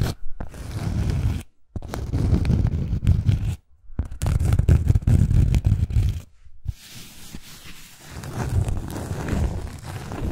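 Long acrylic nails tap and scratch the face and edge of a round, flat, solid cork coaster held in the hand. Dense, dull scratching and rapid tapping come in bursts separated by brief silences, and the sound stays mostly low and muffled.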